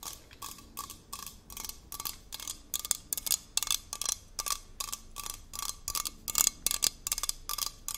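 A hollow, handheld red aluminium sports water bottle with a screw cap is tapped with long nails all along its body. About 23 sharp, bright, clicky taps come in a quick, uneven rhythm, each dying away almost at once. A faint metallic tone sits under the clicks.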